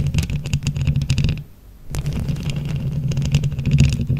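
Long nails quickly tap and scratch a microphone grille covered in plastic flower rhinestones. The result is a dense, boomy, low-heavy rumble of scraping, peppered with bright little clicks and rattles. It drops to a brief near-silence about halfway through, then resumes just as busy.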